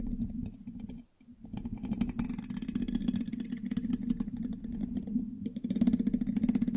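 A thin metal pin held in the fingertips scratches and taps the hollow black metal mesh grille of a large USB microphone. It makes a dense, fast, scratchy clatter with bright high ticks over a steady low hum, which drops out briefly around one second. It then resumes and grows louder toward the end.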